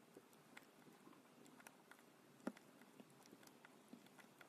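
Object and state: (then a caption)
Soap bar being carved. A thin metal blade scores and slices thin lines into a solid, palm-sized pink EFKO bar soap held on a dark surface. It makes quiet, dry scratching with a series of short, crisp ticks and soft cuts over faint hiss. One sharper, louder cut lands midway, and each sound stops almost instantly.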